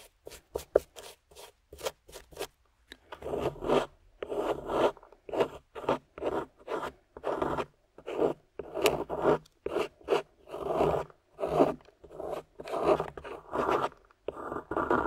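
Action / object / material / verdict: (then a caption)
scrape / plaster excavation block scraped with a metal pick / plaster / none. A small metal pick with a wooden handle scrapes and chips at a palm-sized, solid beige plaster dig block on a yellow base, held in hand, working around a buried dark gem as crumbs fall. It opens with a run of quick, dry ticks, then shifts into longer gritty scraping strokes separated by brief pauses. The sound is a mid-range, crumbly rasp with little bass and no ring.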